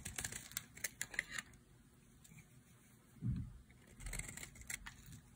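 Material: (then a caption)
Soap. A solid light green bar of dry soap, held in the hand, is scraped with a utility knife blade. Bursts of crisp, dry scratching and clicking cluster near the start and again near the end, with a soft low thud in between.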